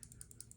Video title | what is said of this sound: Kansept Main Street Round 4: Another Spring Trial #edc #modified #video | you can hear the lock rattle a little bit but in terms of the blade it's not going anywhere